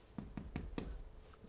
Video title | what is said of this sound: Itak, da se da: APARAT ZA PEKO KRUHA – pravilna uporaba in vzdrževanje | it sounds hollow, it's a sign that the bread is baked